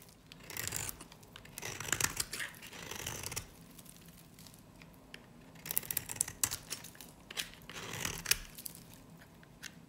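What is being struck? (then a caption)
Varnished soap bar shaved with a metal blade. A metal utility blade scrapes and shaves thin curls off a small, solid, cream-colored dry soap bar with remnants of a black varnish rim, held in the hand. Bright, crisp scraping and crackling strokes come in bursts, with a quiet pause in the middle before several more passes.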